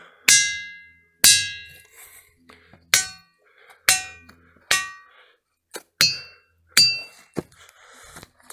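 A hammer strikes a big boulder, roughly four feet around, from the Boulder Batholith in the Ringing Rocks pile near Whitehall, Montana. A series of sharp, bright clangs follows, each ringing with a high, bell-like tone that fades quickly before the next blow. Unlike a regular dense rock, this boulder gives off a clear ringing tone.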